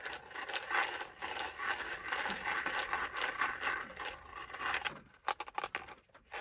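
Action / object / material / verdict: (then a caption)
scrape / small plastic mint tub / plastic / none. A small, hollow, round plastic Ice Breakers mint tub, likely holding mints, is held in the hand and scratched and tapped with fingertips and nails. For about five seconds there is a dense, bright scratching and rubbing, then it thins into sharper, separate clicky taps on the plastic before fading.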